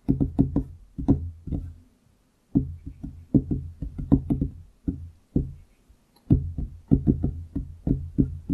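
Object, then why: Wooden desktop. Fingertips of both hands tap on a large solid wooden desktop around the microphone. Quick bursts of soft, dull knocks with a low woody tone around 270 Hz stop almost instantly, separated by brief silent pauses.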